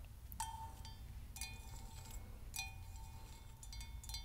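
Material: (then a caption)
Copper. Long nails tap the outer wall of a hollow, apparently empty hammered copper Moscow mule mug with a brass handle. Each tap gives a bright metallic clink with a short ring near 890 Hz and high overtones. The taps are spaced apart over a steady low background rumble.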